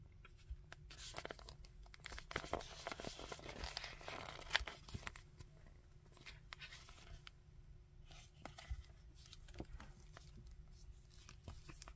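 A red and purple hard plastic Magneto action figure with a soft plastic cape is handled as fingertips tap, scratch and bend its limbs and torso. Dense crinkly scratching and rustling swell in the first five seconds, then thin out into scattered sharp plastic taps and clicks.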